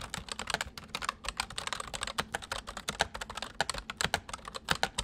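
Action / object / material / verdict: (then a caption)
tap / plastic mechanical computer keyboard / plastic / none. Fingertips of both hands type rapidly on a white full-size plastic mechanical computer keyboard. It produces a fast, uneven stream of sharp, bright clicks and clacks with very short decay and little low end.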